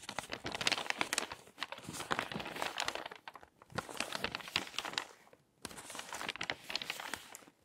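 Fingertips with painted nails rub a loose stack of thin, torn-out glossy magazine pages lying on a dark table, then lift and flip the top page. Bright, crisp crinkling and rustling comes in three bursts of dense papery crackle, with short quiet gaps between them and almost no low end.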